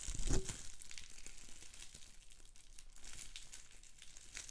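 Fingertips and nails pinch and pop individual large air-filled bubbles on a clear plastic bubble wrap sheet, close up. A louder, fuller pop bursts out near the start, followed by a steady stream of quieter crinkling, crackling plastic with soft snaps throughout.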